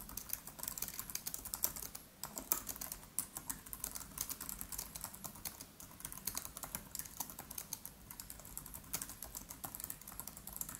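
Both hands type quickly with the fingertips on a MacBook Pro's built-in keyboard, its black plastic keys set in an aluminium body. A steady, dense stream of light, bright key taps with very short decay continues throughout, with occasional louder clicks standing out.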